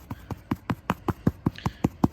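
Steady, evenly spaced tapping on artificial turf over a putting green sounds like eleven short, dull, hollow thuds with a low body and very little ring. The hollow tone shows that a buried putting cup lies beneath that spot, so the hole can be located and marked with chalk.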